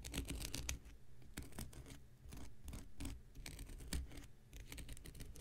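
An X-Acto knife blade scratches and picks at the dry, porous surface of a thick, hand-sized, light blue cellulose sponge held in the hand. Quick, dry scraping strokes and crackly bursts come in uneven clusters, each dying away almost instantly, over a soft low rumble.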